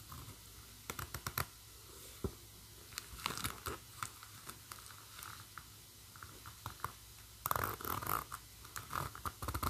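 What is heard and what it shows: Long matte burgundy nails scratch along the chunky metal zipper teeth of a black textured faux-leather bag and move the slider. Short, dry clicks and scratchy ticks come in scattered bursts over a faint low hum. A denser, louder rasp of scraping clicks runs near the end.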